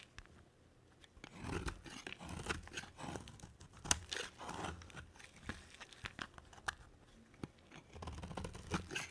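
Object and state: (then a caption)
Dry bar soap being shaved. A hand-sized, rectangular, dry white bar of soap held in one hand is shaved with a black-bladed utility knife, producing soap curls. The clip has a series of dry, crunchy scraping strokes with sharp, bright clicks as the blade bites and catches, separated by short quiet gaps.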